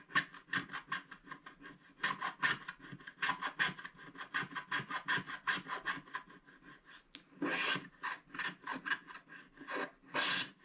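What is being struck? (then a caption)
Black-coated cardboard scratch art card scraped by a wooden stylus. A pointed wooden stylus scratches the black coating off a flat, postcard-sized scratch art card of thin, solid cardboard lying on a table, revealing an owl picture beneath and leaving black flakes around it. Quick, dry, bright rasping strokes repeat in an uneven rhythm, with a couple of longer, louder scrapes near the end.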